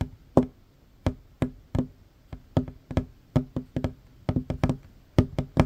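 Short fingernails and fingertips of both hands tap quickly across a worn, large, solid wooden tabletop. Each tap is a dry, hollow knock with a low body around 250 Hz that dies away almost at once. The taps come in an uneven run, some spaced apart and others bunched in quick flurries.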